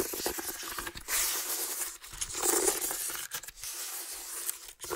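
Fingertips rub and scratch across the weave of a medium, hollow, empty woven water hyacinth basket. The result is a dry, bright, crackling rasp with almost no low end, running in uneven strokes broken by a few brief pauses.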